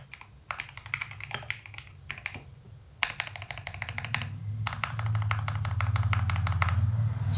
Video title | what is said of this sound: Keycap THIS IS PLASTIC XDA Profile 9mm, chất liệu PBT in Dye-sub, đẹp và rất chất lượng! | Bạn có thể nghe rõ ràng âm thanh rất " thịch" đúng không? Nghe rất "thick"